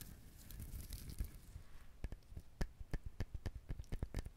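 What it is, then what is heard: Husked coconut. Fingernails scratch the fibrous shell of a whole brown husked coconut. A soft, continuous rustling gives way to a series of short, dry scratches and taps, each with a deep low thump and a faint bright edge that stops almost at once.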